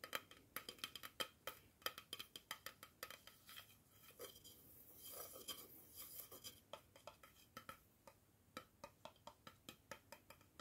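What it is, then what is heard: Plastic jar lid. A round, hollow black plastic screw-top lid with a white liner inside, from a tea jar that stands untouched nearby, is held in one hand and tapped on its top and inner liner with fingertips and nails. Around forty quiet, bright, dry clicks and taps come in an irregular rhythm, each dying away almost instantly. A softer scratchy, rustling stretch sits in the middle of the clip.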